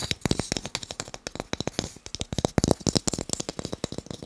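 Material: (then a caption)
Wood. Wooden blocks are tapped quickly, producing a rapid, uneven run of about thirty short, dry knocks. Each tap dies away almost instantly, with a low woody thud under a bright clicky edge, and the taps sometimes cluster into rattling bursts.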